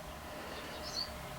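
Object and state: Nothing is struck.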